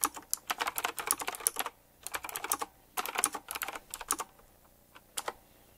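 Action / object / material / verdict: tap / mechanical keyboard with round plastic keycaps in metal rings / plastic / none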